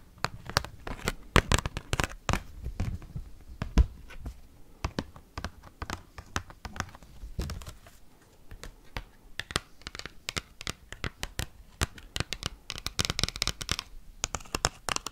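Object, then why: Oversized cardboard card tapped and scratched with metal clips. An oversized cardboard Pokémon card is held up and tapped and scratched fast with paperclips on fingernails. Rapid, irregular dry clicks and taps run throughout, mixed with crinkly scratching and brighter rasping bursts toward the end. There is no ringing after the hits.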